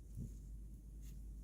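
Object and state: Nothing is struck.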